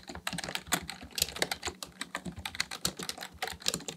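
A black plastic full-size Dell KB1421 membrane keyboard with a hollow housing sits on a desk while the fingertips of both hands type continuously, pressing and tapping its keys. About twenty quick, bright, clicky keystrokes land in a steady, uneven patter. Each clack is dry and dies away almost at once, with little low end.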